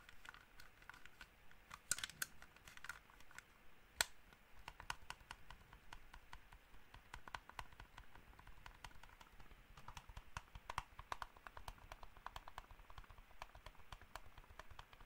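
A small black plastic gaming mouse is tapped and scratched with fingertips and nails. The result is a steady stream of quiet, dry, bright clicks with almost no ring, over a faint scratchy hiss, with a few sharper taps standing out.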